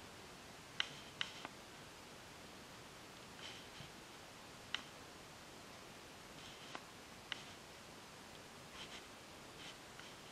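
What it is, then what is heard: Varnished wooden table. Long painted acrylic nails tap and click on a flat, solid wooden tabletop with a glossy varnish. Four sharp, bright clicks stand out, with softer scattered taps and faint scratchy rustles in between over a steady low hiss. Each click dies away almost instantly.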